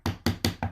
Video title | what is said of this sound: Dirty Carpets, Pet Stains, sub-Surface tool, Great results | hear that hollow sound right there